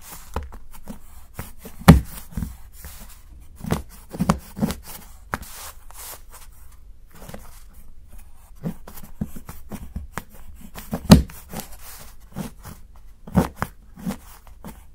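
A steel knife shaves the edge of a solid, segmented dark chocolate bar held by fingertips, cutting it into curls. Repeated short, dull scraping crunches sound in irregular succession, each low and quickly fading, against a quiet background.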